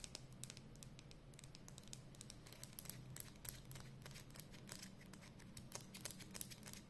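Long nails tap and scratch along the label and barrel of a hollow black and red plastic Edding 300 permanent marker held close. Quick, dry, bright clicks and scratchy strokes patter irregularly throughout, each dying away instantly, over a low steady hum.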